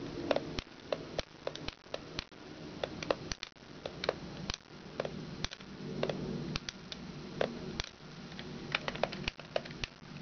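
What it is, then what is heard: Plastic toy giraffe. Long red nails tap the base, wheels and neck of a hollow yellow plastic giraffe push toy. Irregular, sharp clicks come in quick succession, some carrying a brief hollow ring around 570 Hz, over a soft, steady low rustle.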